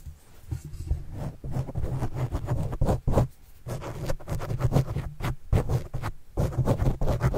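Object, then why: Foam microphone windscreen. A white stylus pen tip scratches and writes across the black foam windscreen on a microphone. It makes a run of close, muffled scraping strokes, heavy in low rumble with little brightness, as the writing speeds up and slows down.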